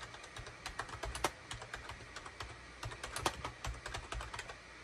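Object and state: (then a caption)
Plastic computer keyboard being typed on. A full-size gray, cream and orange SHIPADOO K600 wired USB plastic keyboard with a hollow plastic housing sits on a desk mat as its keys are typed rapidly with the fingertips of both hands. About twenty-one short, uneven clicks and clacks ring out, bright with a hollow plastic knock underneath. Each one dies away almost instantly over a soft steady hiss.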